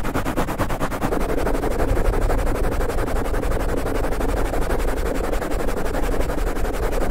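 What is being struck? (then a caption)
Foam microphone windscreen. A black foam windscreen on a large microphone is rubbed and scratched quickly from both sides with flat hands and fingertips. The result is a dense, continuous stream of rapid, muffled scratching and rustling, heavy in deep low-end rumble with almost no high content.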